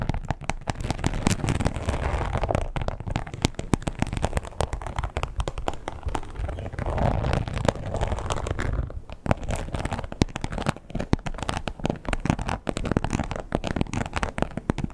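Long pointed acrylic nails rapidly tap and scratch a red croc-embossed leather wallet lying flat. The result is a dense, continuous stream of quick, dull, low-heavy taps and crackly scratches. It eases only briefly around the nine-second mark.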